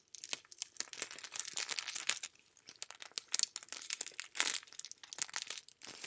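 A thin sheet of clear plastic cellophane wrap, with a dark blue item behind it, is held close and crumpled and crinkled between fingertips with dark-painted nails. It makes quiet, dense bursts of bright, high crackling with almost no low end. Each crackle stops almost instantly, with brief pauses between the flurries.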